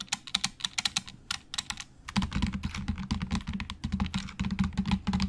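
Both hands type with their fingertips on a black plastic Logitech keyboard with hollow plastic keys, giving sharp, bright clicks. Separate, evenly spaced key taps come first, then after about two seconds the typing turns fast and dense over a steady low hum.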